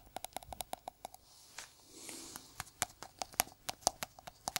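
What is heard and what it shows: Gloved fingertips in red-black sticky gloves tap the white lid of a small, round, hollow plastic jar held in the hand. The result is a quick series of short, dry, bright taps with a hollow tone near 740 Hz and almost no ring. In the middle, the tapping pauses briefly for a soft, breathy rustle.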